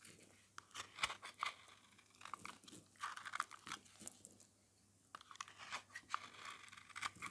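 A metal utility-knife blade scrapes the surface of an oval, solid, yellow dry soap bar, painted silver and red and held in the hand, shaving it into thin strands. Quiet, dry, crunchy scraping strokes with a bright, crinkly edge come in quick bursts, with a short pause partway through before the scraping resumes.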